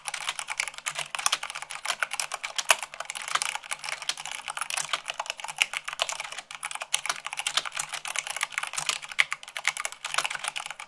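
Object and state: Mechanical keyboard being typed on.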